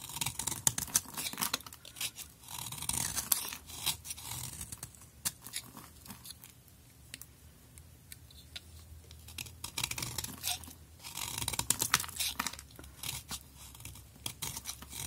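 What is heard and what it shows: A utility knife blade scrapes shavings from the surface of a solid pink bar soap held in hand. It makes dense, bright, crisp scraping and crackling strokes, louder at the start and again near the end, with a quieter stretch in between.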